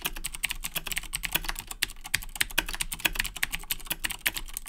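Fingertips of both hands type continuously on a black Razer BlackWidow 2010 Edition mechanical keyboard with Cherry MX Blue switches and plastic keycaps, resting on a desk. A rapid, steady stream of sharp, bright plastic clicks sounds, with each tap dying away almost instantly over a faint low thud.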